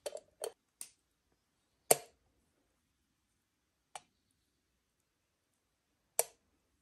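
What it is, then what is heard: Aluminium moka pot. Long nails tap the faceted lid and body of an assembled, hollow, octagonal aluminium moka pot held over a stove. Several short, bright metallic clicks ring with a faint hollow tone and die away almost instantly, spaced irregularly with quiet gaps between them.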